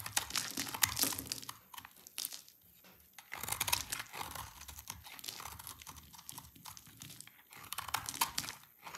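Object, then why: Bar of soap. A knife scrapes and shaves crumbly flakes from one end of a solid rectangular bar of dry yellow laundry-type soap held in the hands. The result is a continuous run of dry, bright crunching and crinkling scrapes with short pauses between strokes.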